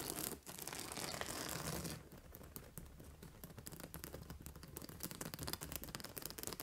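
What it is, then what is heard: Plastic spikes on an acupressure pillow. Long nails tap and scratch the white plastic spike discs on a purple fabric acupressure pillow. The first two seconds are a dense, bright, louder scratching rustle. It then gives way to quieter, rapid, irregular plasticky clicks and scrapes.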